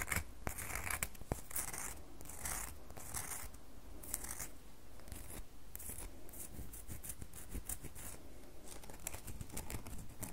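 Long fingernails scratch and tap the edges and surface of a solid red bar of soap held over a table. Bursts of bright, dry scratching alternate with short, crisp taps over a steady low rumble, at a soft, even level throughout.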